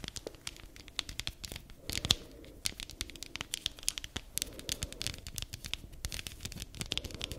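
Long nails scratch and flick the spikes of a palm-sized black spiky massage ball made of rubber or plastic. The result is a dense, fast flurry of bright, dry clicks and crackly scratching with a tearing quality, with no ring after each flick.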